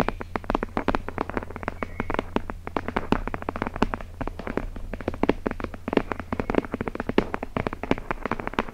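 Long nails scratch the paper page edges of a thick hardcover book with a red cover, held edge-on above the microphone. The result is a rapid, dense stream of short, dry scratchy ticks with a quick decay, riding over a steady low hum.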